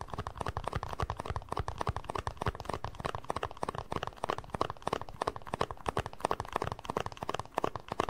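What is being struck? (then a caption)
Small plastic cup. A small, hollow, empty white plastic cup is turned in the hands while fingertips tap and scratch its base and sides. The result is a rapid, steady stream of short, dry, hollow taps mixed with soft scratching, with a mid-pitched knock and almost no ring after each tap.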